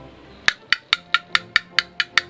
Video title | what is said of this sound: SET PALING KREATIF! Review Hot Wheels Fast and Furious Race Off | ini base-nya itu terbuat dari plastik